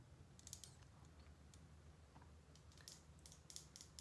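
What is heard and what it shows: Long painted nails tap and click on a small, thin gold metal ballpoint pen with a hollow barrel, held close to the microphone. Short, bright, dry clicks come in irregular bursts over a quiet, low background hum.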